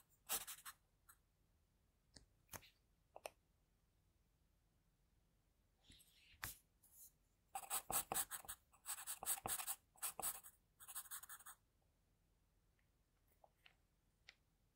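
The sharpened tip of an HB wooden pencil scratches short shading strokes along the jaw of a sketch on a flat sheet of white drawing paper. Quiet, bright, dry scratches come in brief bursts separated by near-silent pauses, with a dense run of rapid strokes in the middle of the clip. Each stroke stops almost instantly, with no ring.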